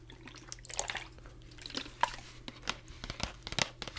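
A green plastic Gatorade squeeze bottle with an orange cap and liquid inside is held in one hand, then shaken and tilted beside and above the microphone. Short, bright sloshes, drips and crinkly plastic clicks come in scattered bursts over a low steady hum. One sharp tap near the two-second mark stands out.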